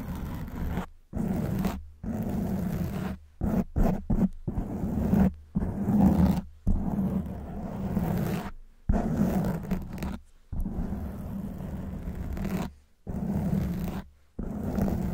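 Long white nails scratch the sides of a black foam windscreen on a silver microphone. The result is dense, low, muffled rustling and scraping in bursts of varying length, separated by brief silences, with a steady hum-like body around 190 Hz and almost no high content.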